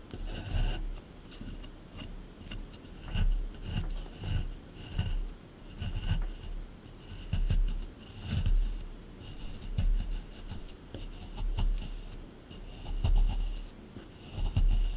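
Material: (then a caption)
Plaster. A small metal scraper scrapes and digs into the hard surface of a solid plaster dig block from a dinosaur excavation kit. Repeated, irregular rasping strokes swell and fade, with a low, rough grind and a faint high, gritty scratch on each pass.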